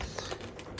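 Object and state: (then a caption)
Baked-through damper bread, sounds hollow. A loaf of camp-oven damper bread is tapped a few times to check whether it is cooked, giving short, dull, hollow knocks. The hollow sound shows the damper is baked through: soft, not sticky, and ready.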